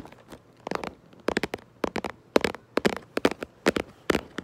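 Long nails tap and trace over the printed front of a cardboard Lego box held up in the air. Quick, dry, crackly taps come in irregular clusters, each dying away almost at once, with soft scratchy tracing between them.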